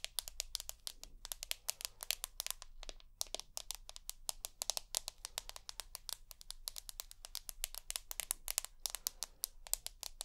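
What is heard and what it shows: Long nails tap rapidly and drag across the white glass back of an iPhone with an aluminium frame, producing a dense run of sharp, bright clicks with almost no ring. Brief scratchy drags appear between the taps, all over a faint, steady low hum.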